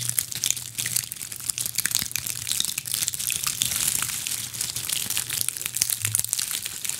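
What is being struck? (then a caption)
Ball of small dried pine cones. Long acrylic nails scratch and squeeze a fist-sized decorative ball of small, solid, brittle dried pine cones. The result is a dense, steady stream of bright, dry crackling and crunching with quick sharp clicks, over a faint low hum.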